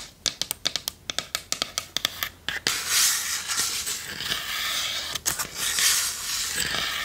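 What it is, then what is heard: Wooden chest tapped and scratched with nails. Long nails tap rapidly on a small hollow wooden chest with metal corners and a latch, producing a quick series of sharp, bright clicks with almost no low end. The nails then scratch steadily across the chest's sides and lid in a dense, hissy rasp, broken by a single tap midway.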